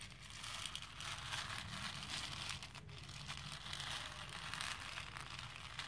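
A hand with painted nails stirs and rubs small plastic faux pearl beads filling a pink plastic bowl. The result is a steady, bright, crinkly rattle of many tiny beads shifting and clicking together, with brief swells as the hand moves.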